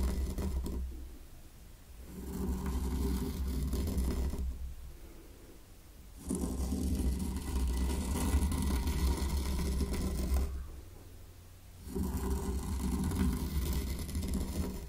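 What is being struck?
Fine sand in a small wooden tray, raked with a small wooden rake.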